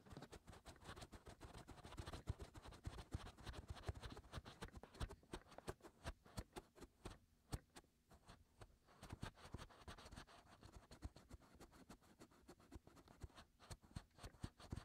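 Fingertips are pushed into the hollow canals of the white silicone ears of a 3Dio binaural microphone and scratch around inside them. The result is a quiet, dense stream of rapid, close-up scratching and crackling with muffled, bassy thumps under a faint low hum. Short dry clicks flicker through it, with a brief calmer stretch in the middle.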